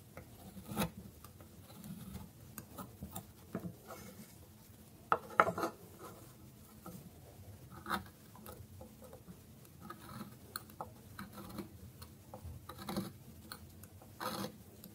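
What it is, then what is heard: Dry bar soap. A chisel-like metal knife slices a solid bar of dry orange soap lying on a wooden board in shallow strokes. Each cut gives a short, dry, rasping scrape with brief crisp clicks at an uneven pace, against a quiet background.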